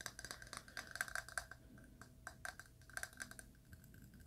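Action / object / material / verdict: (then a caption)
tap / filled glass candle jar / glass / none. A small, filled purple glass candle jar is held in both hands and tapped along the glass with the fingernails. Quick clusters of light, bright clicks each carry a brief glassy ping around 1.6 kHz that dies away almost at once, with quieter taps in between.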